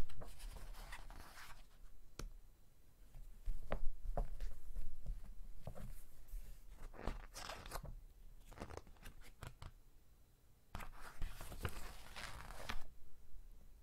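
Fingertips flip a page of a glossy, thick-paper magazine and rub to flatten the open spread. The clip is quiet and close: papery swishes and crinkles come in bursts with sharp, bright ticks and soft low rustling between them.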